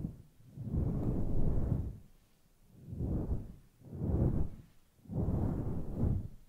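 Long nails gently scratch and stroke through a grey, fluffy synthetic-fur microphone windscreen, making four soft, muffled swishing swells separated by quiet gaps. The sound is deep and rumbly, with almost nothing in the high range.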